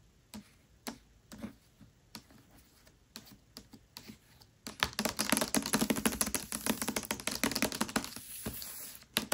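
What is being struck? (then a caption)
Paperback book with card cover. Long nails tap and scratch the glossy card cover of a Mistborn paperback book lying flat. Sparse, crisp taps come first, then after about four and a half seconds a dense, continuous run of quick clicking taps and bright scratches follows.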